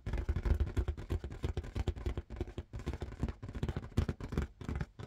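Rapid fingertip tapping on an inflated red marble-pattern latex rubber balloon. The result is a dense, uneven run of short, dry, hollow thumps, deep and boomy in the low end, with almost no ring after each tap.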